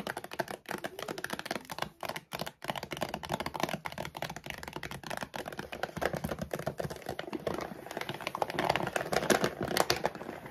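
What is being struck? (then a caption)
Laminated plastic dog food bag. Long nails rapidly tap and scratch the glossy back side of a large laminated plastic dog food bag. The result is a dense, fast run of sharp clicks and crinkly scraping, mostly in the midrange with some bright edges. The sound grows louder and busier toward the end.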